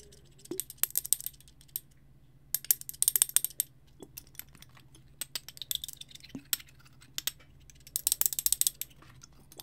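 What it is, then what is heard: Frosted glass bottle tapped and scratched. A small frosted glass bottle with a clear glass top and jute twine is held close to the mic and tapped and scratched with fingernails. Quick, bright clicks and scratchy ticks come in bursts, separated by near-silent pauses over a faint low hum.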